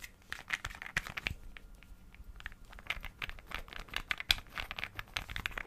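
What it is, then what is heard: Glass perfume bottle. A small green glass perfume bottle with a dark cap, partly filled with liquid, is held in one hand while the other hand taps and flicks it with fingernails and fingertips. The result is a quick, irregular stream of bright, sharp clicks and ticks that die away almost instantly, with a faint crinkly scratching between them.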